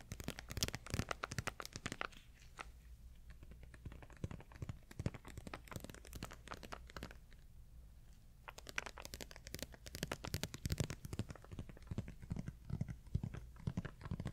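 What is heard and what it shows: A small printed plastic candy or snack packet, apparently sealed, is held in both hands and crinkled and squeezed with the fingers, giving sharp, bright crackles. Dense bursts alternate with quieter pauses over a steady low hum, and some tearing sounds suggest the packet may be opened.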